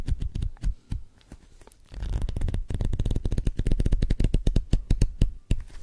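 Fingers riffle the paper pages of a paperback manga volume with a green cover and solid block, held in the hands, and tap and scratch its cover close to the mic. Quick, dull, low-heavy taps and flutters come in an irregular stream, with a softer scratchy pause before denser, louder riffling and tapping takes over.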